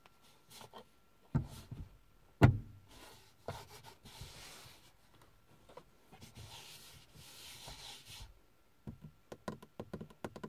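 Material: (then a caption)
Plastic, fabric. Fingertips and long painted nails scratch, rub and tap across the face of a flat, hollow car sun visor with a fabric covering over a rigid plastic shell, and around its vanity mirror cover. Quiet, dull, low thuds are heard, with two sharper knocks early on, soft scratchy rubbing through the middle, and a quick run of short taps at the end. Each tap dies away almost at once.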